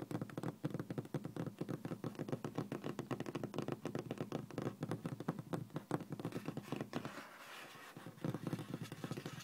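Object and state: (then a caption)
Laminate desk top. Fingertips and medium-length nails rapidly tap a flat, solid, speckled beige laminate office desk top, making dense, dry, low-pitched pattering clicks with very short ring. The tapping eases into a softer scratchy stretch around 7 seconds, then resumes; a ring and metal watch on the hand may add a faint jingle.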